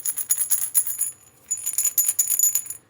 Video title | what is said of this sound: Clay Rattle Lesson | if you listen you can hear the sound inside so what's inside is a number of tiny pieces of clay